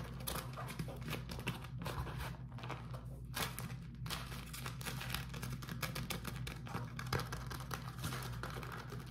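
A beeswax-coated cotton food wrap sheet is rubbed with fingertips, then twisted and balled up. It gives off dense, continuous crinkling and crackling with sharp bright snaps, over a steady low hum.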